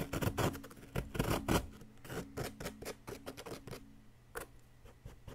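A wooden chisel stick repeatedly scrapes a solid yellow plaster excavation block, making rough, crunchy, broadband strokes at an irregular pace. The scrapes are loudest and densest in the first second and a half, then become softer and more spaced out. A faint low, steady hum runs underneath.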